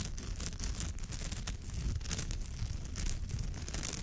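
Long nails on both hands scratch across the rows of woven fibre on a straw or raffia purse. The result is a steady, dense, crackly scratching with a low rumbling body and bright, airy rasps that rise and fall without clear breaks.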